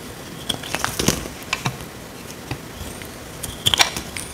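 A small metal blade cuts and scrapes a dry, solid, rectangular tan soap bar held in the hand. It makes a series of short, dry, bright crackling and crunching scrapes, with quiet gaps between bursts and a cluster of sharper snaps near the end. Each sound stops almost at once, with no ring.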